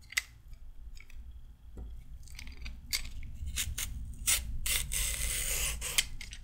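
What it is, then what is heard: Raw carrot being peeled. A handheld peeler with a pink handle and metal blade is drawn along a raw carrot in repeated, uneven scraping strokes. Each stroke gives a short, bright, rasping scrape over a steady low background rumble, and the strokes grow denser and louder toward the end.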